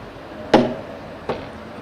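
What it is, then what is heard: Table knock. Two knocks on another table, the first louder, each a short hollow thud with a brief ring that fades quickly, over a quiet steady background. Its sound resembles one of the earlier spots knocked on and differs from another.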